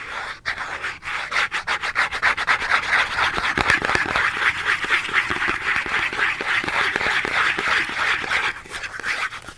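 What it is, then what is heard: Cardboard soap box being scratched. Long nails scratch a small Dove cardboard soap box held in both hands, making a rapid, steady series of dry, papery rasps at about four strokes per second. The sound is bright and scratchy, centered in the upper mids with almost no low end, and it continues without a break for nearly ten seconds.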